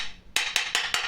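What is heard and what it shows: A painter's tool taps a floor tile beside a taped-off area four times, each hit a sharp, bright click centered around 2.6 kHz with very little low end. The ring dies within about a tenth of a second, so the tile sounds solid and well bonded with no hollow spot.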